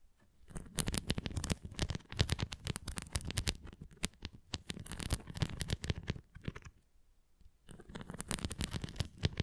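A red plastic flying ring toy with nubs, held at the sides, is scratched with fingertips and nails across its nubs. The result is dense, rapid scratchy tapping with a low thump-like body and bright crackle, running in bursts with a brief quiet gap near the end.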